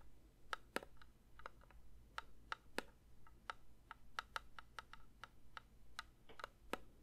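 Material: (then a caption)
Metal. A metal candle tin is lightly tapped with the fingers, producing a steady series of quick, bright clicks with a faint ring around 1.3 kHz that dies away almost instantly. A low, steady hum sits underneath the taps.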